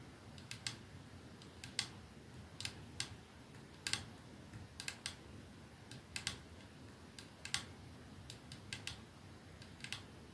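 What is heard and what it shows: One hand slowly taps a capsule-shaped glass perfume bottle, with clear glass ends and a silver middle band, resting on a dark surface, using fingertips and nails. Short, bright, clicky taps sound at an unhurried, uneven pace. Each tap dies away almost instantly over a faint, steady low background hiss.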